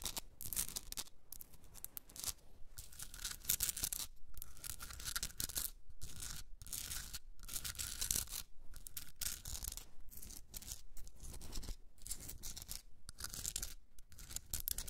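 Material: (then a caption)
Rock salt. Long red nails scratch and tap a hand-sized Himalayan salt rock candle holder, a solid pink rock salt block with a rough surface. The result is a steady run of dry, gritty scratching, broken by brief pauses and quick bursts that reach into the high, bright range, with a low rumble underneath and a faint thin tone in the upper mids.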